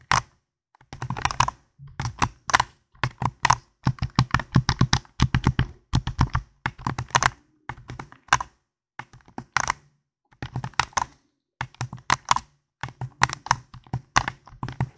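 Fingertips and nails click the buttons and tap the shell of a hand-sized, hollow white and black plastic gamepad held close to a foam microphone. Quick, dry clicks and taps come in irregular bursts separated by short pauses, with a low hollow thump under bright, crisp edges. Each sound dies away almost instantly.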